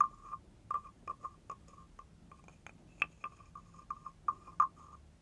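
A wooden stick is scraped along the ridged back of a hand-held carved wooden frog guiro. The result is a series of twelve short, dry, croaking rasps, each centered near 1.2 kHz with faint bright overtones, spaced unevenly over about five seconds at a quiet level.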